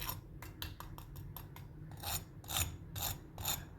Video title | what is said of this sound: کھانےوالوں کابس نہیں چلےگاکہ پلیٹ کے ساتھ انگلیاں بھی چاٹ جائیں--Chicken Malai Kabab -kabab recipe | You can hear how crispy they are